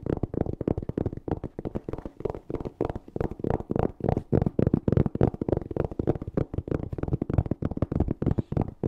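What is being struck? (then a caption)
Hard-shell EVA zipper case. Fingernails rapidly scratch and tap the textured fabric surface of a closed, hollow black hard-shell EVA zipper case held close to the mic. The result is a quick, irregular stream of dull, muffled taps and scratchy rustles, heavy in the low end with no ring after each hit.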